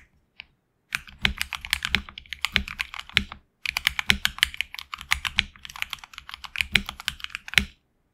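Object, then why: Mechanical keyboard with PBT plastic keycaps. A HyperX Alloy Origins Core tenkeyless mechanical keyboard with HX Red switches, PBT plastic keycaps on an aluminum plate, a hollow case, and lubed switches and stabilizers is typed on continuously by fingertips, seen from a close side view. After a single early click, two fast runs of typing are separated by a brief pause. The keystrokes are dense, short, bright clicks centered around 2.2 kHz, with a faint low thock beneath them and almost no ring.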